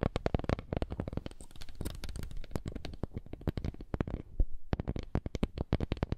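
A small, flat woven wooden lattice coaster held over the microphone is rubbed and tapped with fingertips. The result is a dense run of quick, dull, low-heavy taps and scratchy rubbing, with a brief quieter patch of rubbing near the end before the tapping resumes.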